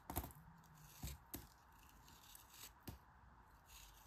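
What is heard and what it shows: A hand-sized, solid, packed green kinetic sand figure is broken and crumbled into pieces by two hands with long red nails over a white surface. Four soft, low crunching breaks stand out against a steady gritty rubbing and crumbling hiss.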